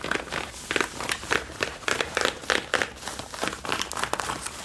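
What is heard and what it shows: Long nails and fingertips scratch and rub the back pockets and waistband of worn blue Levi's denim jeans. The result is irregular bursts of dry, bright, rasping scratches with a crinkly texture and almost no low end.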